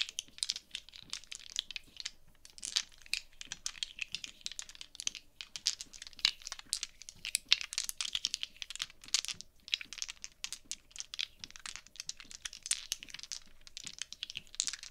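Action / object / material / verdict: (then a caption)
shake / small plastic polyhedral dice / plastic / none. Small solid plastic polyhedral gaming dice are held in both hands and shaken and clicked together by fingers with long painted nails above a dark cloth mat, where three other dice rest. The result is a dense, continuous stream of quick, bright, crisp clicks and rattles with almost no low end and no ringing after each tap.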